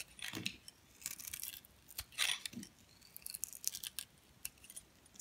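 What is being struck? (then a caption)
Bar of soap. A metal blade scrapes and peels strips off the surface of a hand-held, solid dark soap bar with gold glitter. The result is a series of crisp, bright, crackly scraping bursts with very little low end. The bursts come in short irregular runs separated by quiet gaps.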